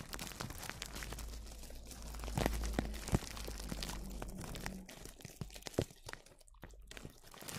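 Clear plastic cling film wrapped tightly over a microphone is stroked and scratched with a small brush with a black handle. Dense, irregular brushing and crinkling crackles ride over a steady low rumble, with a few sharper scratches standing out before the sound thins and turns sparser near the end.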